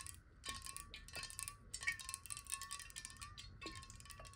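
Long nails tap rapidly on a clear, hollow glass bottle holding water, held in both hands. The result is a quick, irregular stream of light, bright clicks over a steady faint ringing tone near 1.1 kHz and about 2 kHz.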